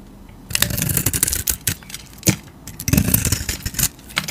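A metal utility blade carves a solid, hand-sized rectangular bar of soap with a dark painted surface and tan interior, held in a hand with long teal nails, scraping and shaving off curls. After a quiet start, dense bursts of dry, crackly scraping with a bright hiss begin at about half a second. They ease into softer strokes mid-clip, with a sharp click near 2.3 seconds, then return as crisp shaving bursts before ending.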